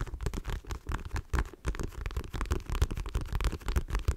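A dark patterned faux leather wallet, held in one hand, is tapped and scratched quickly with long nails. The result is a dense run of soft, dull, low-heavy thumps mixed with faint scratchy rustling, each tap dying away almost at once.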